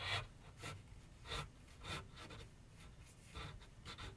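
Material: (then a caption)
Canvas board. A graphite pencil is drawn and scratched in short strokes across a medium white canvas/paper board resting on a wooden easel. Each stroke makes a brief, bright, scratchy rasp over a faint low rumble, with quiet gaps between strokes at an uneven pace.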